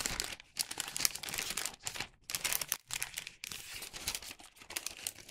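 A hollow bag made of thin printed wax paper is held in both hands, bent and opened, giving bright, crisp crinkling and rustling. The sound comes in dense bursts broken by brief quiet gaps, with almost no low end.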